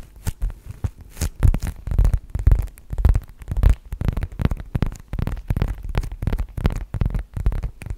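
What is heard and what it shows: Long manicured nails tap and scratch across the leather face of a black leather zip wallet held horizontally in both hands. The result is a dense, irregular run of quick, dull, muffled thumps with soft scratchy brushing, nearly all of it deep and low with almost no high content. Each tap dies away instantly with no ring.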